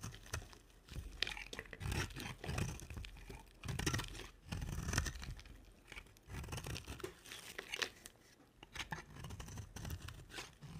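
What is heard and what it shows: A small red-handled blade scrapes and carves dry flakes off a round, solid, dry white soap bar set in a dark rim and held in one hand. Bursts of dry, crisp scraping and crunching run through the clip, with a low thudding body under a bright, rasping edge.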